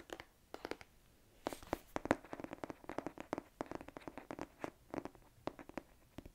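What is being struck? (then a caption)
Hardcover book with cardboard cover. Fingertips and nails tap the printed cardboard cover and edges of a thick hardcover book held in both hands. The result is quick, irregular bursts of short, dry clicks and knocks with almost no ring, set against a quiet background.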